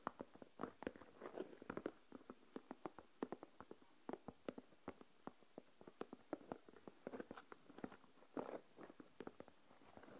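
Fingernails tap on the lid of a small translucent plastic deli tub with a lid, filled with coarse salt, then a single fingernail taps on alone. A long run of quiet, sharp, dry clicks sounds in the midrange with little low end, with faint grainy bursts between some taps.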